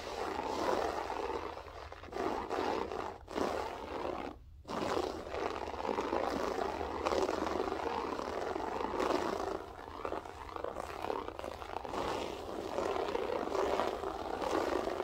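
Long nails scratch and rake across a grey loop-pile berber carpet with both hands, producing a steady, dense rasping that sits mostly in the midrange. The texture stays continuous for the whole clip, with only a brief drop around the middle before the scratching resumes.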